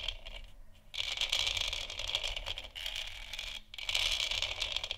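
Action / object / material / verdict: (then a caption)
scrape / hollow textured plastic lamp sphere / plastic / none. Long nails scratch and tap across a large, hollow, textured plastic moon lamp sphere, making a dense, bright, crackling scrape with a steady tone near 3.3 kHz. The scratching runs in bursts, with brief quiet gaps near the start and again past the midpoint, and the clicks are dry and die away quickly.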